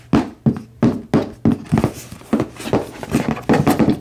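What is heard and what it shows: A medium red HyperX-branded cardboard product box, hollow and apparently full, is held in both hands and tapped with fingertips and nails. Thirteen short, dull, hollow thunks with a low-mid body and very quick decay land in an uneven rhythm, crowding closer together toward the end.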